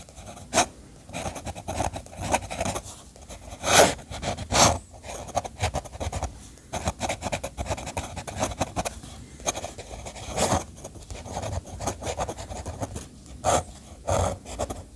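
The metal nib of an orange fountain pen scratches across a flat sheet of white drawing paper, partly ink-washed, lying on a desk, drawing architectural ink lines. A steady, soft, dry scratching of short pen strokes continues throughout, with occasional louder, brighter scrapes standing out near the start, around the fourth second, mid-clip and near the end.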